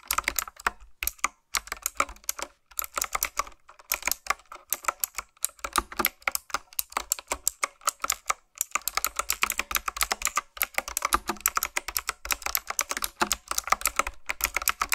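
Fingertips type and tap on a black retro typewriter-style plastic mechanical keyboard with round keys. Rapid, bright, clacky key clicks come in bursts with brief pauses, each click short and dry with almost no low end.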